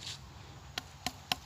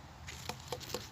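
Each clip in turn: First: Three quick, tight flicks on a watermelon, each a short crisp tick that dies at once: a dense fruit. Second: Three soft flicks with a brief mid pitch near 500 Hz; a watermelon that is not yet dense.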